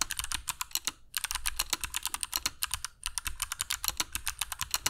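Fingertips of both hands type continuously on a compact black mechanical keyboard with dark PBT plastic keycaps and Kailh Box Jade switches, resting on a cork desk mat. About 37 sharp, bright, clicky keystrokes, each dying away almost instantly, come in quick runs with brief pauses near the one- and three-second marks.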